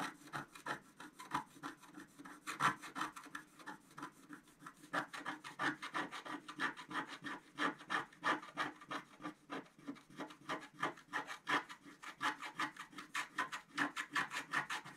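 A wooden stylus scratches repeatedly across a flat scratch art sheet with a black coating on paper. It makes quick, uneven strokes of dry, papery rasping with a bright, hissy edge and almost no low end. The strokes come in rapid bursts throughout at a soft level.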